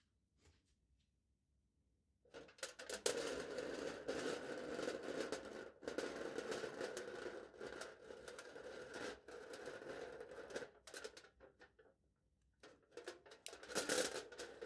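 A knife blade pokes and slices the top of smooth aluminium foil stretched flat over a foil-wrapped hollow cup. After two quiet seconds come dense, crinkly tearing and scratching bursts with a hollow mid-range tone and bright crackle, broken by brief pauses. They go silent near the twelfth second, then return in sharp rustling cuts.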